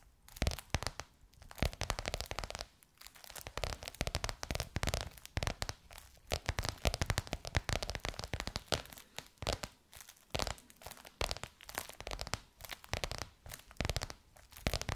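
Long nails tap and scratch across a bronze-gold crocodile-embossed faux leather cover stretched over a curved hollow form. Dense, rapid, dry taps mix with crinkly, tearing-like scratches, each hit dying almost instantly. The sound carries hollow low thumps under bright, papery edges, with brief pauses between bursts.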